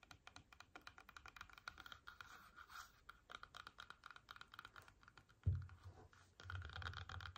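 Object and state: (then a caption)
Apple tapped and scratched with fingernails. Long painted nails rapidly tap and scratch a whole red apple resting on a table, making quick light clicks and crisp scratching. About midway a single louder, low thump stands out. A denser, rumbling scratch follows toward the end.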